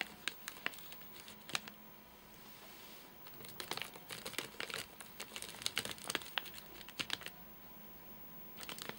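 Four fingertips tap in rapid sequence on the top of a full, flat rectangular Soft Nougat bar in a crinkly plastic wrapper. The result is bursts of sharp, bright crinkling clicks with almost no low end. There are quieter pauses around 2–3 seconds and just before the end.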